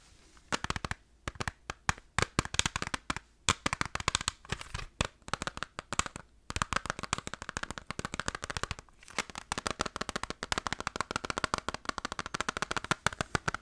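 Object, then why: Plastic video game case. Fast fingertip tapping on a plastic PS2 Final Fantasy game case, compared with a PS1 case. Dense, sharp, dry clicks follow one another in quick bursts with brief pauses, each dying out almost instantly with a bright, hollow plastic tone.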